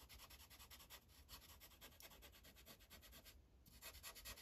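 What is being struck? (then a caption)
Felt-tip marker on paper sheet on a clipboard. The felt tip of a green Sharpie marker rubs back and forth across a thin paper coloring page on a clipboard in rapid coloring strokes. The result is a steady, bright, scratchy swishing over a faint low rumble, with a brief pause near the end before the strokes resume.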